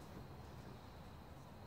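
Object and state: Nothing is struck.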